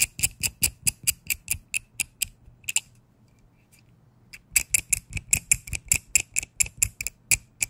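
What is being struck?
Small steel adjustable wrench.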